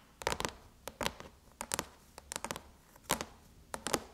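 Long chrome nails tap and scratch the surface of a closed silver aluminum MacBook lid near the Apple logo. They make quick, dry clicks in irregular bursts with short bright scrapes between them. Each tap dies away almost at once, with no metallic ring.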